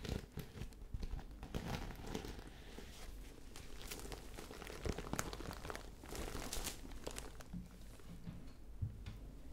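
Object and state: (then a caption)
Fabric zip pouch scratched. A small, hollow lilac fabric zip pouch with a sequin heart and lettering is held up in the hand and scratched and rubbed with long dark-painted nails. The result is a steady, close crinkling and scratching texture with quick, bright rustling bursts over a low, muffled body.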